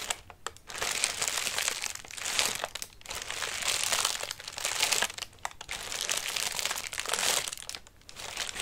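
Fingertips pat, scratch and squeeze a collapsed lime-green folded tissue paper lantern, hollow with a wire frame, resting on the lap, then lift it by its rim. Bright, dense paper crinkling rises and falls in uneven swells, separated by brief quieter gaps, with almost no low end.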